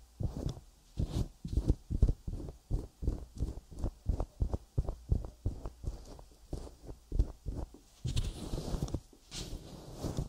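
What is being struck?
Silicone microphone ear.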